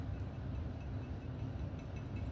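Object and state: Nothing is struck.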